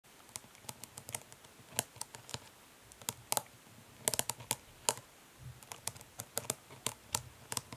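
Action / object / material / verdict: tap / plastic eyeshadow palette case / plastic / none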